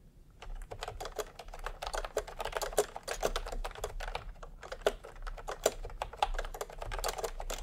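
Bare fingertips of both hands type fast on a full-size pastel plastic retro keyboard with round plastic typewriter-style keycaps, resting on white fabric. A steady stream of short, dry, clacky key presses, each with a midrange body and a bright tick, dies away almost instantly over a faint low background rumble.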